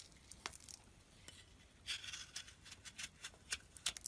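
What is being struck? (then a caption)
Bar of soap scraped with a metal blade. A solid block of cream bar soap held in the palm is scraped and carved with a metal box-cutter blade. Quiet, bright, crisp scrapes and short shaving ticks come in a steady series, with brief louder strokes toward the end and no lingering ring.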